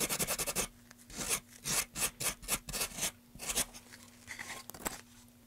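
A gloved hand rubs sandpaper across a solid, light-wood carved pine tray with grooves, first propped on its end and then laid flat. The clip opens with a quick run of short, bright, raspy strokes, followed by slower, separate sanding swipes with quiet gaps between them. A faint steady low hum sits underneath.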